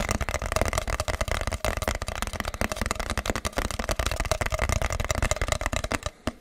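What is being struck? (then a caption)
Cardboard box. A medium-sized, hollow, plain brown kraft cardboard box held in the hands is tapped and scratched with fingertips and nails. The result is a dense, continuous stream of quick, dry, hollow taps and crackly scratches with a low thumpy body and a boxy midrange ring. The taps stop just before the end.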